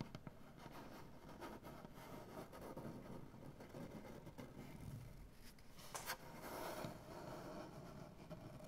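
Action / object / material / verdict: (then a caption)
scrape / wooden butcher block tabletop / wood / none. Long dark-painted nails on both hands tap and scratch the surface of a solid, light maple-style wooden butcher block tabletop. The result is a quiet, steady, low-weighted scratching texture broken by soft, short taps, with a brief brighter, louder scrape around the six-second mark.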